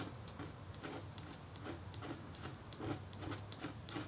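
A red-handled metal engraving stylus scratches fine lines into a flat, thin, solid black-coated copper-foil scratch-art board partly covered by white paper, with a hand resting on the paper. Quiet, short, dry scratching strokes repeat at an uneven pace, each a brief bright rasp with a faint low tone underneath, over a steady low background rumble.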